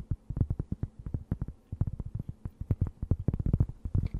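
A thin, round, solid and flat cork board is held close and scratched with long nails. It gives a rapid, uneven series of short, dry scratching strokes with a dull, low, muffled tone, each dying away almost at once, with brief pauses between bursts.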